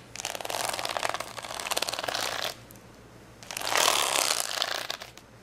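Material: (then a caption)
Plastic. Fingernails scratch and tap along the gem rows on the side of a plastic rhinestone sticker sheet folded into a layered stack on a towel. Two bursts of dense, bright, crackly clicking and scraping are heard, separated by a short quiet pause, with the second burst louder before it fades out.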